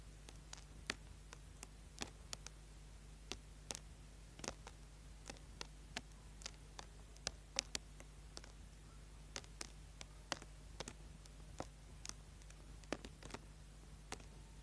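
A small, solid orange bar of soap held in the hand is vigorously scraped with a small tool. Quiet, sharp, dry scratching clicks come at irregular intervals, each one brief and bright, over a steady low hum.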